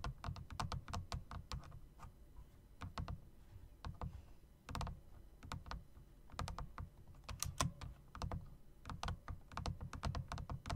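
Fingertips and nails press the keys and long spacebar of a plastic and metal typewriter-style mechanical RGB keyboard with round plastic keycaps set in chrome rims. It produces a quick, irregular run of sharp clicks, each with a low, hollow thump and a bright top that dies away almost at once, with a short pause midway.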